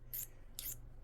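A file is scraped three times across a heat-treated, hardened beryllium copper RC boat propeller, each stroke a short bright, high-pitched rasp over a steady low hum. The file glides without grabbing because the treated propeller is now harder, though the material is still soft overall.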